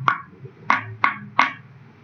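A resonating object with its face covered is struck four times, each hit giving a short, dull knock centered near 1.1 kHz. The tone dies away almost at once and sounds heavy rather than ringing.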